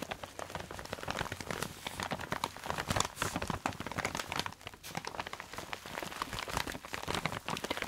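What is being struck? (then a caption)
Plastic zip-lock bag with folded fabric inside. A hand-sized clear plastic zip-lock bag holding a dark red folded fabric item with a white round label is held up and crinkled and scratched with long nails. The result is a dense, continuous run of bright crackles and rapid scratchy ticks over a faint low hum.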